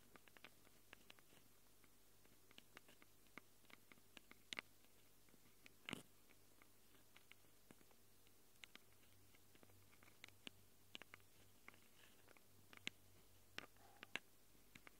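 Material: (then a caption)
Metal. Long glitter acrylic nails scratch the metal mic capsule rings of a small black handheld Tascam recorder with a plastic body. Around thirty quiet, sharp clicks and scratches sound at an uneven pace over a steady low hum. Each is bright and dies away instantly, with one louder, fuller scrape near the middle.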